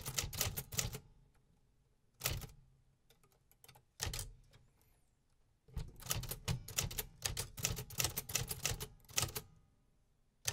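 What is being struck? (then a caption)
Metal manual typewriter. Fingertips press the keys of a vintage Remington Quiet-Riter metal typewriter from the 1950s, producing sharp, bright typebar strikes with a low mechanical thump beneath each one. The strikes come in irregular bursts and short runs separated by quiet pauses, each hit decaying quickly.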